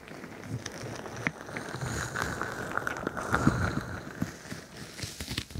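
A crinkly bingsu ball, a stretchy plastic skin filled with plastic beads, is pressed over the top of a microphone and squeezed and scratched with long nails. It makes a close, dense, irregular crinkling and crackling of shifting beads with soft low thumps and brief bright scratchy edges.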